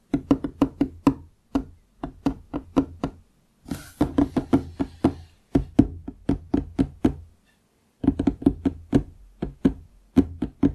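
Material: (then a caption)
Wood. Fingertips tap on a large solid wooden desk top near its lower edge, making dozens of quick, dry, woody knocks with a low-mid tone that die away almost instantly. The taps come in rapid rhythmic runs separated by short pauses, with a brief bright rustling hiss under the taps around the fourth second.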